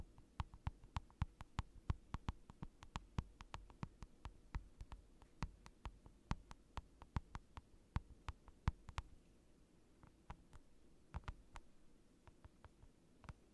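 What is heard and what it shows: Fingers tap on a large rectangular acrylic sheet lying on a desk, with the microphone pointed down at it. About fifty crisp, dry taps are heard, each a short low thud with a bright click on top that dies away almost instantly. The taps come in a quick, uneven rhythm, briefly thin out, then return more sparsely near the end.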